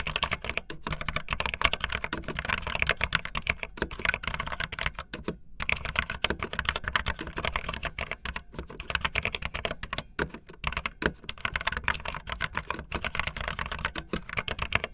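Fast typing on a full-size, backlit plastic Bluetooth membrane keyboard with white and blue plastic keycaps and a hollow plastic body, the keys pressed with fingertips and the tips of long painted nails. A dense, continuous run of quick, bright, hollow clicks and taps with short decays continues throughout, over a steady low hum.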